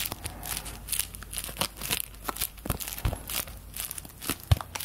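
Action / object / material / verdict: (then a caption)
flick / thin paper bills / paper / none. Thin paper play-money bills are crinkled, pulled and flicked by the fingers of both hands with long nails, producing dense, bright crinkling and crackling rustles with short sharp flicks. A few soft low thumps sit under the paper noise, with the loudest snap near the end.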